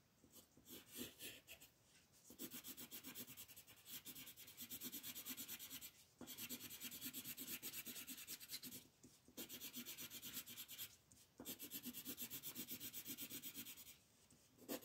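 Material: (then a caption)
Paper. A green colored pencil rubs back and forth fast over a thin white coloring book page lying flat, shading a large grass area. Bright, dry, scratchy rasping comes in long continuous bursts of rapid strokes, broken by a few brief pauses.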